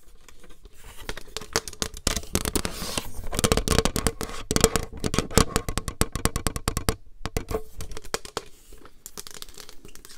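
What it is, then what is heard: Plastic paper trimmer. Long nails tap and scratch across the clear rail and grid surface of a plastic paper trimmer, and its slider is possibly moved. A dense run of crisp, bright clicks and scratchy strokes builds to its busiest stretch in the middle, with a faint ring near 450 Hz. It pauses briefly around seven seconds, then continues more softly to the end.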